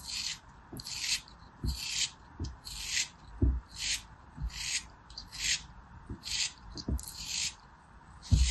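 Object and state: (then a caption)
Kinetic sand block being carved. A small packed block of beige kinetic sand, held between the fingers of a blue-nailed hand, is scraped and carved with a small knife blade. Repeated bright, gritty scraping strokes come in steady bursts, with soft low thuds as grains crumble off the solid chunk.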